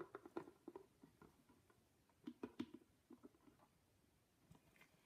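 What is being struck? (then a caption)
Paper-wrapped cardboard box. Long pink nails on hands in shiny black gloves tap and scratch a medium, flat, hollow cardboard box wrapped in yellow patterned paper with a black ribbon bow. The result is soft, dull, hollow paper taps in an irregular scattered series, with faint scratching between them and quiet stretches in the middle and near the end.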